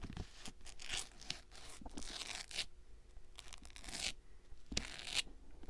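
Fingers scratch and rub the knit fabric upper of an empty gray and cream Nike-style sneaker with synthetic straps, held close up. Bursts of bright, raspy scratching swell and fade, with a few sharper scrapes and brief quiet gaps over a faint low rumble.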